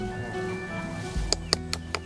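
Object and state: Unripe durian.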